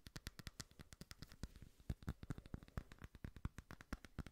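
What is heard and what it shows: A small frosted glass votive candle holder printed with cakes is tapped quickly with fingernails. The result is a rapid, irregular run of short, dry clicks with bright edges and a low thud under some of them, and each tap dies away almost at once. Some taps land harder than others.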